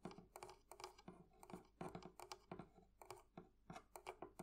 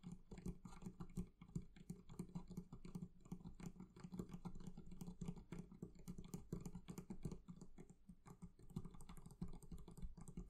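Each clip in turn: First: metal fittings on a barrel chest. Second: leather covering on a barrel chest.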